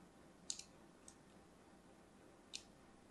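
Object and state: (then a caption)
Soap bar scored with a blade. A thin metal blade scores lines into the surface of an orange and white striped solid soap bar held in hand. Four short, crisp, high-pitched clicks stand out over a faint steady hiss, two close together near the start, a softer one after, and a last one near the end.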